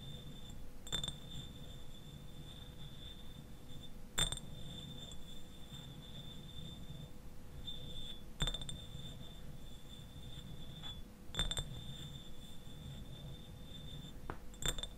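Fingernails tap the sides of a clear glass eyewash bottle standing upright and partly filled with liquid. Each tap gives a sharp, light clink followed by a sustained, high glassy ring near 3.6 kHz that lingers for a few seconds. A steady low rumble sits underneath the whole clip.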